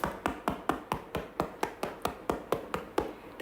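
A freshly baked chocolate sourdough loaf, still hot from the oven after 10 minutes at 250° and about 30 more at 220°, is tapped on its bottom about fifteen times in a steady rhythm. Each tap is a short, dull, hollow knock with almost no ring. The hollow sound shows the loaf is cooked through; it stays uncut because it has to cool first.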